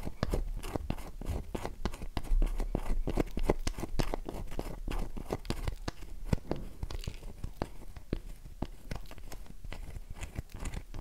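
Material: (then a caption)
Soap. A solid, oval, light-blue bar of dry soap rests in a palm and is scratched, scraped and tapped with long nails, its box lying untouched nearby. The result is a steady run of quick, dry scratching clicks and crisp tapping at uneven, shifting speeds. Each sharp, short tick dies away almost at once, with a low, thumpy body.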